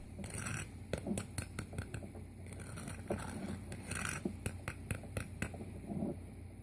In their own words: the coating of the baked chicken will be super crunchy just listen how crispy this chicken is